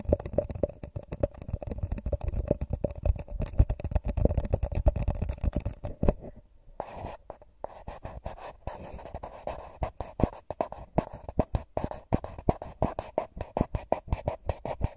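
A single empty, hollow, drinking-cup-sized paper cup with a shiny gold metallic foil coating is held in both hands close to the microphone and squeezed and scratched with the fingertips and nails along its side. Dense, rapid scratching and crinkling fills the first six seconds, pauses briefly into a near silence, then resumes as sharper, distinct crackling strokes with a low, hollow body.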